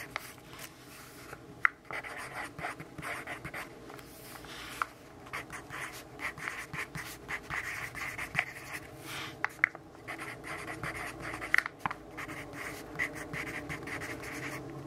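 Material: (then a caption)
Paper. A graphite pencil held in the fist writes on the page of an open paper notebook, scratching across the paper. The steady, bright scratching rises and falls with each stroke, with occasional sharp ticks as the pencil strikes the page.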